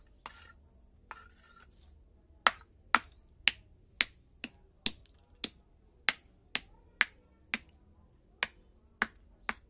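A small hammer with a blue handle taps and knocks on a broken orange terracotta clay roof tile, already cracked into several pieces and lying flat on dirt ground, to break it into smaller shards. Two soft taps are followed by a steady series of sharp, bright clacks that die away almost instantly.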